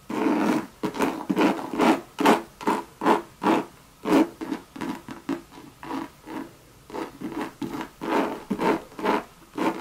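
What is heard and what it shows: Long red nails scratch and rub the sides of a hollow Louis Vuitton monogram coated canvas bucket bag with a tan leather rim. About twenty quick, dry scraping strokes follow one another at an uneven pace, each a short burst of rough, papery friction with a faint hollow body around 400 Hz.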